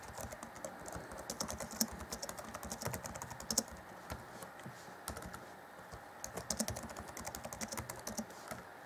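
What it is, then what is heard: Plastic laptop keyboard. Fingertips of both hands type rapidly on the black plastic chiclet keys of an Acer Chromebook C20 (2014) laptop keyboard set in a grey deck. The result is a steady stream of quick, bright, dry clicks and taps that die away at once, with a softer lull in the middle before the fast typing picks up again.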